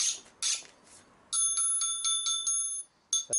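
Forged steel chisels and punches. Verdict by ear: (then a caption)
Sound. Several forged steel punches and chisels are struck in turn, each giving a bright, bell-like ring with a steady high tone that sustains between taps. They all ring alike, showing each tool is well forged like the last.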